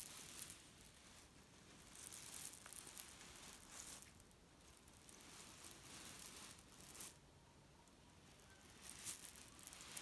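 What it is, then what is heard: Pillow filled with cherry stones. A grey leaf-print cotton pillow filled with cherry stones is held in the hand and squeezed, then pressed on a bed so the pits shift and rattle. Soft, bright, crunchy rustling swells come and go at irregular moments, with quieter hissing shuffles between them.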